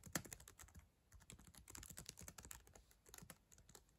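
Long acrylic nails and fingertips type rapidly on the plastic chiclet keyboard of a black ThinkPad laptop. The quiet, uneven stream of short, dry clicks has bright tapping ticks over soft low thuds, and each keystroke dies away almost instantly.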